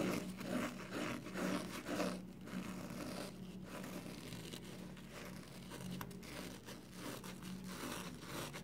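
A hand-sized, porous yellow foam kitchen sponge with a scouring pad, soapy and wet, is folded, squeezed and rubbed with the fingers. The result is a steady run of soft, wet squelching and crackly, scraping rubs, with a low tonal hum underneath.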